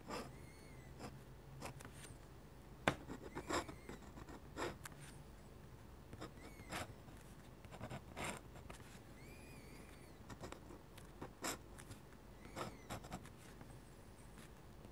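A metal-nib dip pen scratches quick hatching lines across a flat white sheet of drawing paper. The strokes come as a quiet series of short, dry, bright scratching bursts, with faint high squeaky tones between them and a low steady hum underneath.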